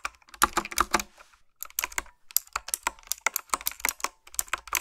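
Fingertips and nails type on a retro typewriter-style keyboard with a dark frame, round black plastic keycaps and blue backlit switches. Crisp, bright clicks come in quick bursts, with a short pause about a second in before the typing resumes. Each keystroke is a short, dry tap with almost no low end.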